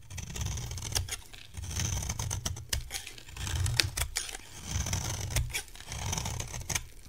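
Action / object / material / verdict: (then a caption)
scrape / bar of soap shaved with a metal blade / soap / none. A metal blade shaves a solid, dry yellow soap bar, making crumbly flakes fall off. Short, sharp scraping clicks and bright, high crackles come in waves over a low, steady rumble.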